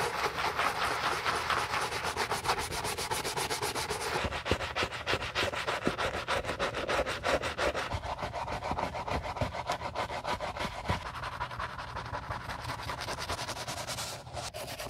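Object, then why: Leather sneaker scrubbed with a bristle brush. Gloved hands scrub the soapy collar, eyelet area and inside of a white leather Gucci Ace sneaker with a wooden-handled bristle brush. Rapid back-and-forth bristle strokes, roughly three per second, make a steady wet rubbing hiss that is brightest in the first few seconds, then continue evenly before dipping briefly near the end.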